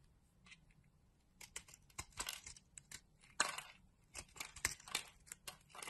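A metal utility blade scrapes and carves a solid, palm-sized orange oval bar of soap with raised nubs, and crumbly chips fall away. The result is quiet, dry, bright scraping and crisp crunching cuts that come in irregular bursts, each ending quickly with almost no ring.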